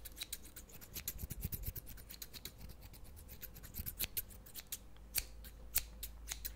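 Medium-size scissors with steel blades and green plastic handles are held in one hand close to the microphone and snipped open and shut, so the metal edges scrape against each other. The result is a quick, continuous series of crisp, bright metallic snips and scrapes with very short ring, some louder than others, over a steady low hum.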